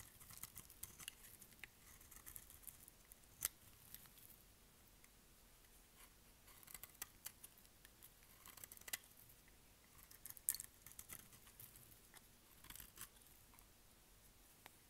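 A utility knife blade shaves the edge of a solid purple bar of dry soap held in the hand, making quiet, crisp scraping and cutting sounds. Bright, dry ticks and short scrapes come in irregular bursts, with a few sharper snaps standing out over a faint background hiss.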